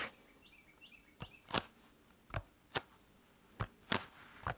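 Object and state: Foam roller.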